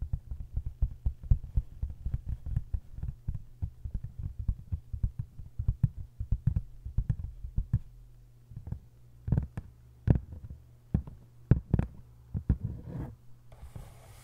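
Long white acrylic nails tap and scratch the textured paper dust jacket of a large, solid hardcover copy of 1Q84 lying open face-down. Rapid, dull, low thuds come thick and fast at first, then grow sparser over a faint steady low hum. The clip ends with a brief, brighter scratching hiss.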